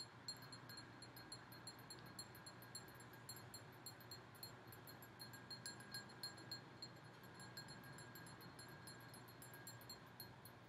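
A large red and gold glass goblet candle holder is tapped on its bowl with long nails, giving a steady run of quiet, bright clinks. Each one rings briefly and high over a low background hum.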